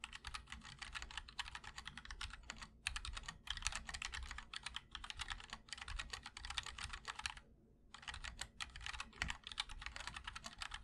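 Fingertips of both hands type continuously on a MOD-L 60% mechanical keyboard with linear switches, ABS keycaps in white and black, and a black aluminum case. Rapid, overlapping key clacks sound bright and short, with a brief pause near 7.5 seconds before the typing resumes. A faint low hum sits underneath.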